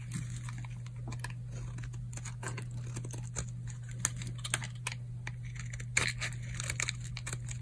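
A solid, old, dry purple oval bar of soap is held in the palm and scraped with a utility knife blade, peeling off crunchy shavings. A dense run of crisp, bright scraping crackles and sharp ticks plays over a steady low hum, with a few louder snaps standing out.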